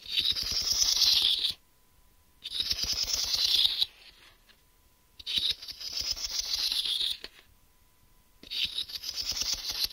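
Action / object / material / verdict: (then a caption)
scrape / translucent plastic geometry-set case / plastic / none. Fingernails tap and scratch the surface and ridged edge of a medium, hollow, smoky-grey translucent plastic geometry-set case held upright in one hand; whether anything is inside is not visible. Four bursts of quick, bright, dry clicking and scratching are separated by short silences.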